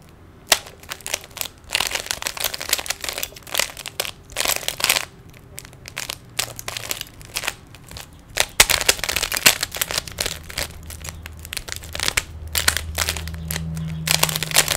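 Fingers twist the layers of a small, solid plastic 3x3 Rubik's cube, producing a dense run of bright, crisp clicks and rattles. Bursts of rapid turning alternate with brief quieter pauses, and each click stops almost instantly. A faint low hum sits underneath toward the end.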